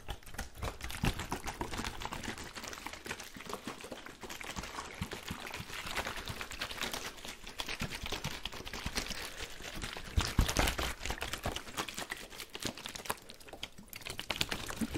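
A large clear plastic water bottle with a blue cap and label, partly filled with water, is held in white-gloved hands and shaken and tilted close to the microphone. The water sloshes in a dense, irregular stream of wet splashes and crackling clicks over a steady low rumble, swelling to a louder burst around the ten-second mark before continuing.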